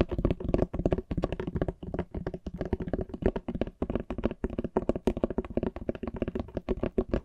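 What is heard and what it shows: A large, flat, solid antique hardcover book with a printed, embossed cover, held in both hands, is tapped rapidly on the cover with fingertips and nails. The result is a quick, continuous stream of dull, short knocks with a low, woody body, a midrange tone and faint bright clicks from the nails.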